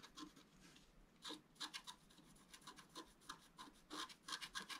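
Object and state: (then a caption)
Scratch-art card being scratched. A pointed wooden stylus scratches the black coating off a flat, roughly A4 scratch-art paper sheet showing a fountain picture, lying on a table while the other hand holds it steady. Quiet, dry, bright scratching strokes come in irregular short bursts, each with a crisp high rasp and almost no low end or ring.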